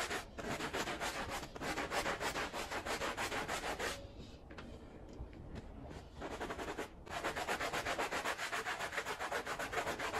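A small, wet, foamy Persian-style pile rug is scrubbed vigorously with a handheld blue bristle brush, making fast, rhythmic, bright rasping strokes. The scrubbing softens and thins out for about two seconds in the middle, pauses briefly, then returns to its full, steady back-and-forth rhythm.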